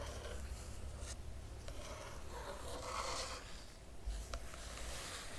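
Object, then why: Paper pages of a hardcover book. Long nails trace across the printed paper pages of an open hardcover book, then both hands scratch the pages. The result is a quiet, steady bed of dry, papery scratching and rubbing with bright grainy texture over a low rumble, swelling slightly in the middle and ending with a few sharper scrapes.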